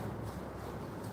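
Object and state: Nothing is struck.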